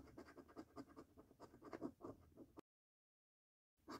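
A coin edge scratches the coating off a flat, thin £5 Snack Stack paper lottery scratch card lying on a dark table, held with fingertips, working over the order-numbers and games areas. Quick, rasping scrapes repeat for about two and a half seconds. A cut to silence follows, then a brief burst of scratching returns at the end.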